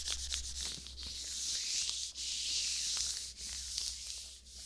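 Thin white latex gloves worn on both hands are rubbed together palm to palm and across the fingers, with the latex stretched as it moves. The result is a steady, bright, hissing friction with brief squeaky crackles, dipping quiet twice as the hands shift, over a faint low steady hum.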